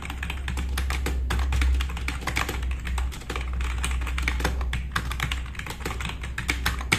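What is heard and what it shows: Fast two-handed fingertip typing on a black RGB-backlit tenkeyless plastic mechanical keyboard with plastic keycaps, resting on a wooden desk. It produces a dense, irregular stream of short, bright clicks and clacks over a steady low hum.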